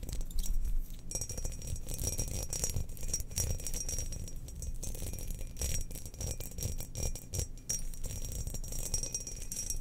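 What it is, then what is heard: Ceramic cookie jar. Long nails of both hands scratch and tap the sides of a hollow glazed ceramic Death Star cookie jar turned upside down with its lid set aside. The result is a steady stream of dense, quick scratching and ticking with a bright, hissy edge over a heavy low rumble. Each tap dies away almost instantly, with no ring.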